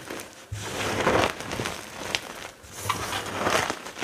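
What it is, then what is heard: Crushed gym chalk pile. Hands grab, squeeze and crush handfuls from a heap of crumbled white gym chalk (magnesium carbonate) chunks and powder, rubbing fingers through the pile. Soft, gritty crunching and crinkling swells in waves, with a few sharper, bright crackles standing out.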